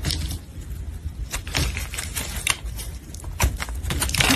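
A solid red translucent soap bar, held in a gloved hand, is sliced into thin strips with a metal blade. Crisp, bright crackling scrapes rise and fall over a steady low rumble, with sharper cuts standing out near the middle and end.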